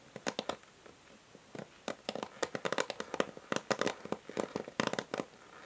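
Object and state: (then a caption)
Plastic hair brush. Long nails tap the hollow grey plastic back of a paddle hair brush with a pink rim, held sideways. Quick, dry clicks with a hollow tone around 535 Hz fall in loose, irregular bursts, sparse at first, then denser and faster. Each tap dies almost instantly, with a faint bright edge.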